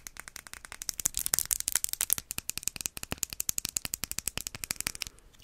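A small travel-size Versace Bright Crystal glass perfume bottle with a crystal-like top is tapped quickly with the fingers. A rapid, steady series of short, bright, high-pitched glassy clicks plays for about five seconds, then stops.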